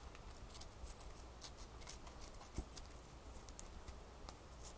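Long fingernails scratch and rub a single small solid ice cube held up close. Quiet, bright, crisp scratching ticks and short rasps come in irregular bursts over a steady low hum.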